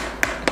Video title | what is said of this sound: REXUS DAXA SATURN ST1 REVIEW | ini dia terasa lihat kopong dan kayak kurang Kredibel aja menurut saya